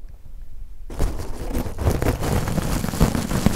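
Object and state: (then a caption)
Stainless steel scrubber being crushed. A coiled, springy, hollow-textured stainless steel wool scouring pad is pressed and crushed between two pencil microphones. After a near-silent low rumble, a dense, crackling crunch of metal ribbons starts just before one second and continues to the end. The crunch is heavy in the lows, with faint bright edges and occasional louder pops.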